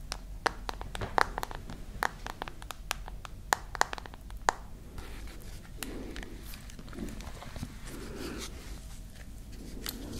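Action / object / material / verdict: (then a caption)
tap / glass and metal smartphone / glass, metal / none. Long nails tap on the glass screen side and then the back of a glass and metal smartphone. Quick, sharp clicks come first, then softer scratching and rubbing taps over a low steady background hum.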